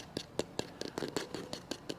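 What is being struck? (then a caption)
Shock absorber friction block. An old, cleaned friction block from a 1921 Stutz shock absorber, once assumed to be brake or clutch pad material but showing grain and feeling light, is tapped eleven times. Each tap is a short, dry knock with a hollow tone near 450 Hz that dies away almost instantly. It sounds like wood, confirming the block is a piece of wood that can be remade from hardwood.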